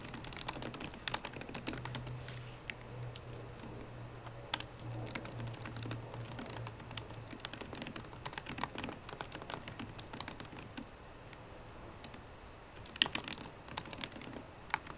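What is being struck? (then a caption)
Laptop keyboard, plastic keys in a metal body. Fingertips and painted nails of both hands tap the black plastic keys of a solid 13-inch silver aluminium MacBook Pro laptop keyboard. A fast, steady stream of short, crisp clicks centers around 3 kHz with bright edges, and a few louder taps stand out. A faint low hum sits underneath for most of the clip.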